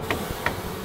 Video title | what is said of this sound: 《一日系列第一百五十集》蛤～阿公成為-真。老司機，準備帶大家上路啦!!! -一日公車司機 | Sounds like a ripe watermelon - That means it’s inflated. It has air.